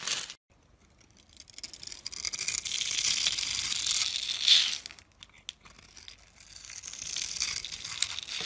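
A metal blade scratches a grid into the face of a solid, hand-sized, opaque blue-and-white striped soap bar and flakes off small cubes. The sound is a dry, bright, crumbly scraping hiss, almost entirely high in pitch, with no low end. It comes in two long passes: the first swells to a sharp crackle near the end before a pause, and the second builds again more softly.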